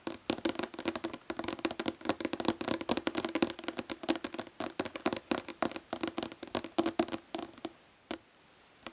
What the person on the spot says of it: Nail tapping on plastic body lotion bottle.